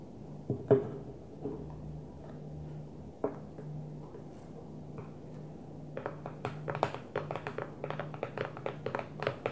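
An empty, hollow clear plastic food storage container with a blue lid sits upside down on a table and is tapped with long French-manicured nails. A few scattered, quiet taps give way after about six seconds to a quicker run of short, dry, hollow clicks. A low steady hum runs underneath throughout.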